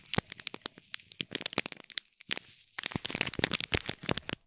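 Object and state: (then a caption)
Foil-wrapped gift box in plastic film. Fingertips and nails scratch and crinkle the plastic film wrapped around a small gold foil-wrapped gift box with a gold bow. The result is a dense run of sharp, bright crackles and crinkles with brief pauses, each snap dying away almost instantly.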